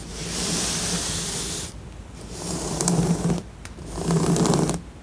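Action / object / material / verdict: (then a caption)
scrape / assembled cardboard jigsaw puzzle / cardboard / none. Fingertips and long nails scratch and tap across the glossy pieces of a flat, assembled printed cardboard jigsaw puzzle lying on a surface. Three passes of dry, hissy scratching rise and fall, each with a low buzzing undertone and bright, crisp tapping clicks in the later two, separated by brief quieter gaps.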